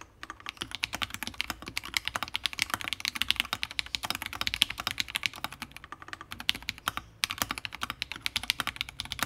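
Continuous two-handed fingertip typing on a Fusion60 60% mechanical keyboard built with FFFF switches, a brass plate and plastic keycaps. It makes a rapid, steady stream of sharp, bright clacks with almost no low end and a very short decay. There is a brief pause just past seven seconds before the typing resumes.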